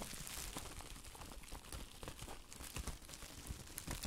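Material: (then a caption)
Plastic. Clear plastic bubble wrap covering a pair of hands is crumpled and squeezed by the fingers inside it, held close to the microphone. A steady, dense crinkling and crackling runs throughout, with soft low rustling thumps and brighter, sharper crackles that stand out now and then.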